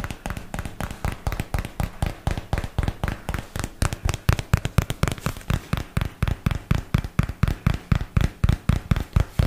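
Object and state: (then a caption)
Cardboard box tapped. Fingertips and nails tap rapidly on the large flat face of a paperboard product box, making around fifty short, dull, low thuds at an uneven pace of about two per second. Each tap dies away almost instantly with no ring, with only a faint bright click from the nails on top.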